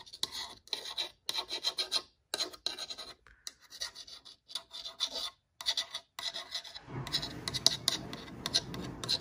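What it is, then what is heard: Painted wooden sign. Long nails scratch and tap across a solid, flat layered wooden Halloween sign painted orange and black that reads "Welcome My Pretties." Short bursts of bright, rasping scratching alternate with brief silences. In the last couple of seconds, the scratching turns into a steadier, denser rub with more low body.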